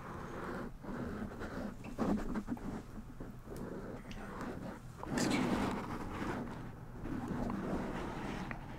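Fingertips of both hands scratch and rub a black foam windscreen on a white microphone. The result is a steady, muffled rustling and scratching that swells louder around the middle and stays mostly in the low and mid range.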